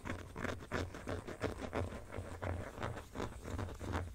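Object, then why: Empty plastic phone case. Fingertips and nails scratch and tap the textured inner back panel of an empty black plastic phone case held in both hands. The result is a soft, steady run of dry scratches and light taps, about three per second, with a dull low thump beneath each stroke and almost no ring.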